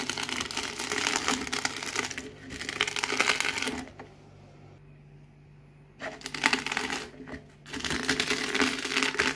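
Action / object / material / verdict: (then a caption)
scrape / potato chip fragments crushed under a rolling can / potato chips / none. A hand rolls a cardboard Pringles can over a loose pile of crisp potato chip fragments on a white surface, crushing them. Dense, bright crackling and crunching comes in bursts, with a quiet pause in the middle before the rolling and cracking resume.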